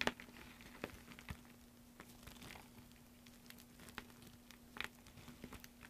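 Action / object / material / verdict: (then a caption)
scrape / loose soap flakes and chips / soap / none. Fingertips with short painted nails scoop, squeeze and crumble a loose heap of thin, brittle green soap flakes and chips on a dark surface. The result is quiet, dry crinkling and crackling with scattered sharp little crunches over a faint steady low hum.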